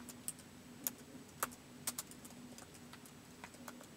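Fingertips slowly type on a white plastic laptop keyboard, producing soft, short, bright clicks at an uneven pace. Some keystrokes stand out louder than the rest, and a faint low steady hum runs underneath throughout.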